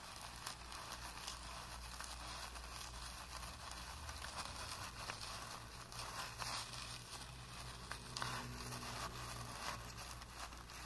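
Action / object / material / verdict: scrape / paintbrush on primed cotton canvas / cotton canvas / none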